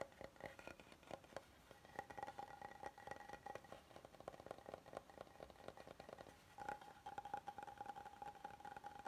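Fingertips and nails tap and scratch the face and edges of an oval, solid light wood serving board held up in the air. The result is a quiet, steady run of dry, short taps and scratchy brushing, with a faint hollow ring near 800 Hz that fades almost at once.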